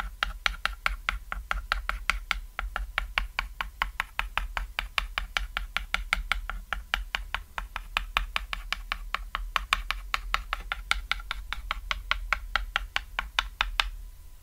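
A stick of white chalk is tapped repeatedly on a small, thin, solid cat-shaped chalkboard lying on red fabric, making dots. It produces a steady run of sharp, dry clicks, several per second, each dying away almost instantly with a bright crack centered around 2.5 kHz. A constant low hum sits underneath.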